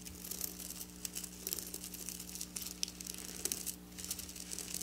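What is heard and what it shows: Long black nails scratch along the rows of silver sequin fabric, producing bright, crisp clicking and rustling that is mostly high-pitched. The quick scrapes come in an uneven stream over a faint, steady low hum.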